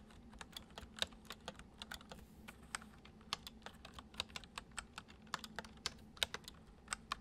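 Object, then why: Plastic computer keyboard. Fingertips of both hands type fast, repeated taps on a full-size white plastic computer keyboard with hollow keys resting on a wooden desk. About thirty short, bright, hollow clicks fall in an uneven rhythm, each dying away almost instantly. A faint steady low hum sits underneath throughout.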